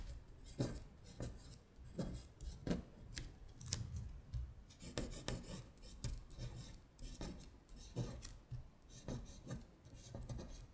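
A long nail scratches across a thin paper worksheet lying flat while tracing the words. Dry, rasping scratch strokes come in quick repeated bursts with a bright, papery hiss over a soft low rumble, and each stroke stops short with almost no ring.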